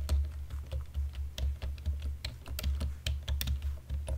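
Keys on a black plastic computer keyboard are pressed slowly with index fingertips and nails in dim light. Separate, bright plastic clicks and taps come one after another over a steady low hum. Each click fades quickly.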